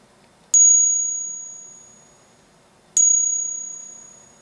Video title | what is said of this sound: Identifying Counterfeit Coins - Morgan Dollars, Silver Eagles, Gold Double Eagle and 1799 Large Cent | this is what a fake Morgan Silver Dollar sounds like